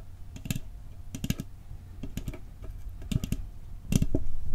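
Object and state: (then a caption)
Metal cookie tin. Fingertips tap the lid and rim of a round, hollow, decorated metal cookie tin with a Christmas scene on the lid, held in both hands. The taps come in quick, uneven clusters of short, dull knocks with a low, thudding body and a faint bright tick, each dying away almost at once. The tapping grows louder toward the end.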